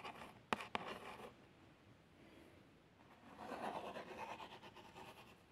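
A long fingernail traces over the printed text and plaster picture on a small, hollow cardboard box of plasters, making soft, dry scratching with a couple of sharp ticks near the start. The tracing fades to a quiet lull, then returns as a louder, steady scrape toward the end.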